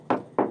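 Two solid, dull taps on the painted main structural fiberglass bulkhead of an old catamaran hull, each a short knock centered in the low mids that dies away quickly without ringing. The bulkhead sounds solid, with no cracking or delamination.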